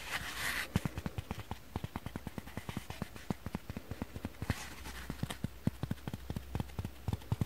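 A dry foam kitchen sponge is tapped with fingers and nails in quick, irregular succession, giving about 35 soft, dull, low-weighted taps that die away almost instantly. Brief bright rustling bursts come near the start and around the middle, over a faint low steady hum.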